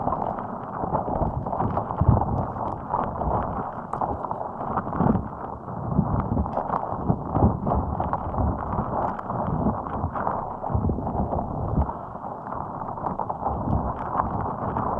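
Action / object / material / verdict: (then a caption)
scrape / soft rubber spiky puffer ball / rubber / none. A fist-sized, hot pink, soft rubber puffer ball covered in many spikes rests on top of the microphone while it is squeezed and scratched with long acrylic nails. The result is a continuous, dense stream of close scratching, rubbery squeaks and soft thuds, weighted toward the low and middle range with no bright top. The level stays fairly even throughout, with small swells.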